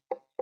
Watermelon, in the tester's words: സൗണ്ടിന്റെ വ്യത്യാസം ഉണ്ടാവും ആ ഒരു ഇത് വേണ്ടത്ര ആയിട്ടുണ്ടാവില്ല